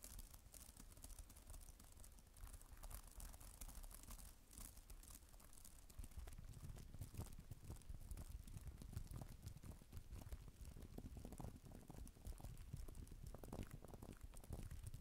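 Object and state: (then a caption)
Plastic tablet keyboard cover being typed on. Fingertips and nails type on the plastic keys of a black type-cover keyboard for a tablet, with an added echo effect. Dense, irregular clicks and taps run throughout over a low, boomy rumble, with bright ticking and crinkly scratches on top, and they grow somewhat louder after the midpoint.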